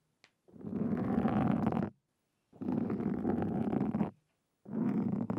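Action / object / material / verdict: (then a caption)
scrape / foam microphone windscreen / foam / none. Two wooden-handled carving tools with thin metal tips scratch across a black foam windscreen on a Zoom recorder. Three bursts of close, dense scratching come through as a low, rumbling, muffled rasp with little high end, separated by short silences, and the last burst is cut off at the end.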